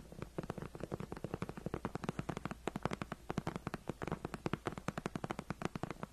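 Long nails and fingertips scratch, tap and claw the front of a white padded faux-leather gaming chair backrest near the seam. About fifty quick, dry taps and scrapes come in a steady rapid patter, each with a soft low thud and no ring.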